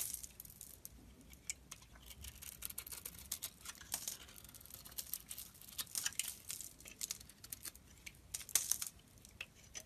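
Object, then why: Bar of soap scraped with a metal blade. A solid, dry, translucent yellow bar of soap with grooved, grey-coated sides is held in hand and scraped and carved with a metal blade, sending dry shavings off. The blade gives a quiet, continuous run of crisp, bright scraping and crackling with sharp, fast-fading high ticks and little low end.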